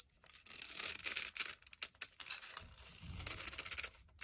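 A metal blade slices and scrapes small cubes off a solid rectangular pink soap bar scored into a grid, crumbling them. The sound is a dry, bright, crackly scraping and tearing with rapid crunchy bursts and a brief duller rumble near the end.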